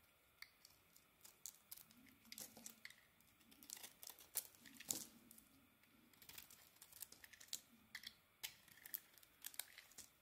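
A solid pink bar of soap with a brown rim, held in the hand, is scraped and cut with a metal blade. Quiet, bright, crisp scratches and sharp little ticks come in an uneven series of short bursts, each dying away almost instantly.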